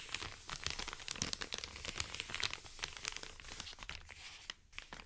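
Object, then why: Kraft-paper padded mailer. An Amazon kraft-paper padded mailer lies flat while short painted nails scratch and tap across it and fingertips rub its surface. The result is a dense run of bright, crisp crinkling and scratchy clicks with very little low end and almost no ring after each contact.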